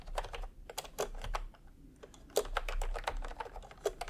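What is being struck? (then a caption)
Plastic keyboard keys. Bare fingertips of both hands type fast on a full-size pastel plastic retro keyboard with round plastic typewriter-style keycaps, resting on white fabric. The key presses come as quick, crisp plastic clicks and clacks in rapid bursts, with a brief lull in the middle before the typing picks up again over a faint low rumble.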